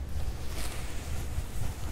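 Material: Nothing is struck.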